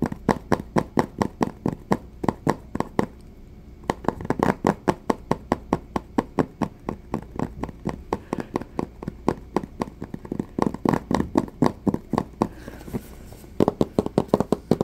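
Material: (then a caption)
Cardboard. A small, hollow white Samsung Galaxy S III cardboard box is tapped and knocked with fingertips and short nails, giving about sixty quick, dry, hollow taps with no ring. The taps come in brisk runs broken by short pauses near the 3-second and 13-second marks.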